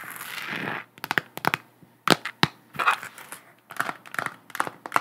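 Long nails tap and scratch all over a hollow, galaxy-print plastic sphere lamp held close up. A brief scratchy rustle opens the clip, followed by a scattered series of sharp, bright, dry clicks with almost no ring.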